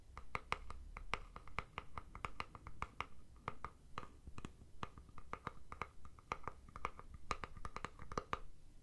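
Fingernails tap and scratch the plastic body of a deodorant stick container held in one hand. Dozens of quick, dry clicks come in an irregular rhythm, each with a short hollow plastic tone around 1.2 kHz and almost no ring. A low, soft rumble sits underneath throughout.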